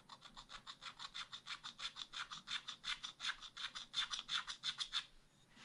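A wooden stylus scratches ice cream shapes into the black wax-coated page of a spiral scratch art pad in continuous strokes, while the other hand rests flat on the page. About 28 quick, rhythmic scraping strokes give a bright, dry, high-pitched rasp with almost no low end. The strokes stop just before the end, leaving a faint rustle.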